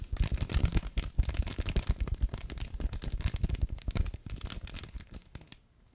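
A yellow plush duck pet toy with an orange foot and a crinkle insert inside is crumpled and squeezed with both hands behind the mic. It makes a dense run of rapid crackling crinkles over soft, low thumping handling noise, then the sound thins out and fades near the end.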